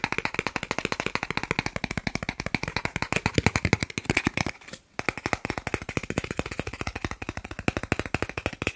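A thin, solid, flat green plastic gift card about the size of a credit card is held in both hands in front of a microphone and rapidly tapped and scratched with fingertips and short nails. The result is a fast, steady stream of short, dry clicks with a bright, crisp edge, broken by a brief pause just before the five-second mark before the tapping resumes.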